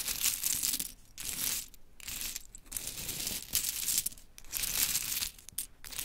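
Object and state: Pile of small wooden clothespins.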